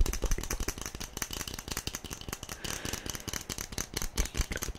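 A small hollow yellow plastic SpongeBob toy figurine, held in both hands, is tapped quickly with long nails. A rapid, uneven stream of short, dry clicks and hollow knocks rattles on with almost no ring after each tap.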